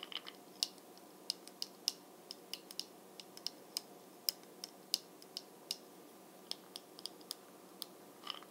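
Long fingernails tap rapidly on the brown glossy plastic lid of a Bronze Booster bead jar, a small hollow jar full of beads. Each tap is a sharp, very short, bright click that stops almost at once. The clicks come in a quick, uneven string of separate hits over a quiet, steady background.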